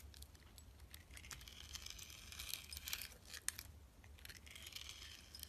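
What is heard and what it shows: A box-cutter blade slices and scrapes the purple glitter coating off a palm-sized, solid oblong bar of soap with a translucent orange interior, held in the hand, while other soaps lie untouched nearby. The sound is a quiet, continuous run of crisp, bright scraping and crackly shaving with a few sharper ticks, over a steady low hum.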